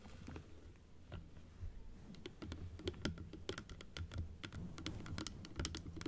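Long acrylic nails tap and scratch on the plastic teeth and blue plastic base of a large plastic dental teeth model, first held open and then closed. Quick, bright, sharp clicks come in an uneven patter with soft scratching between them, over a steady low rumble.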